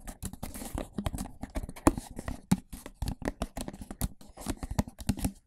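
A medium, empty, hollow, clear plastic rectangular food container is held upside down over the microphone and tapped and handled with fingertips. It makes a rapid, irregular run of dull, hollow taps and soft rustling handling noise. Each tap carries a low, boxy resonance around 280 Hz that dies away almost instantly.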